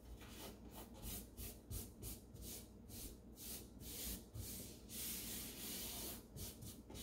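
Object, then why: Thin wooden drawer base. A bare hand sweeps and rubs across the thin wooden base of an empty, open light-wood drawer, its fingertips rubbing and scraping as they push crumbs along. The result is a run of soft, bright, hissing rubbing strokes that swell and fade, with a steady low hum underneath.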